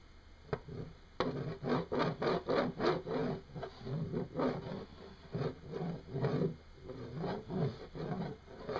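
A single small, solid, oval, shiny hematite magnet spins upright and wobbles on a wooden desk, scraping and ticking against the wood. A couple of sharp ticks are followed by a run of rapid, uneven rasping bursts, dry and low-pitched with little high-end.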